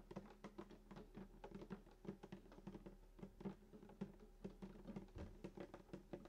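Fingertips of both hands tap quickly on the hollow wooden soundboard around the bridge of a sunburst acoustic guitar lying flat. About thirty soft, short taps each give a dull hollow knock with a low body resonance near 195 Hz that dies away almost at once, in a quiet, close setting.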